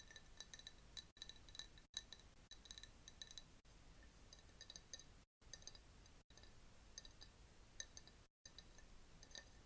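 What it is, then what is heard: Glass jar. Long fingernails tap a hand-held clear glass jar with a paper label, partly filled with yellowish liquid and holding a bamboo straw. Quiet, rapid, bright clinks with a ringing tone around 3.9 kHz die away almost instantly, broken by a few short silent gaps.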